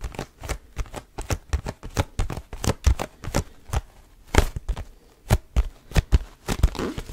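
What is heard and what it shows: Fingertips grip, squeeze and tap the sides of a small, mostly hollow, cube-shaped cardboard tissue box with a leaf print and tissues showing at the top. A steady run of short, dull, low thumps is heard, with faint papery crinkles between them. Each tap dies away almost at once.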